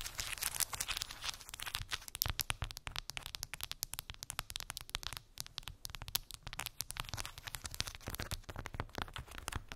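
Long acrylic nails tap and scratch across a cork board covered with round wooden balls. The result is a dense, rapid stream of sharp, dry clicks and crackly scratching, bright and crisp, with each tap dying away almost instantly.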